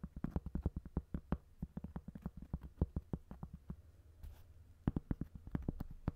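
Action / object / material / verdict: tap / cork coaster / cork / none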